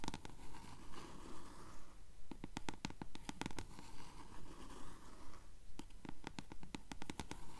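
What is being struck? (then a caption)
Paperback book page edges, paper. Long nails scratch the yellowed page edges of a closed blue paperback book held upright. Quiet, steady, rapid scratching strokes repeat in a regular rhythm, each a short bright rasp over a soft low rumble, with brief pauses between bursts.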